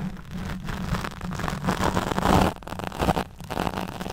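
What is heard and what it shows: Long nails scratch the back and side of a black foam windscreen over a studio mic. The result is a dense, rushing crackle with a strong low rumble. The sound swells and dips in uneven strokes, with brief quieter gaps between passes.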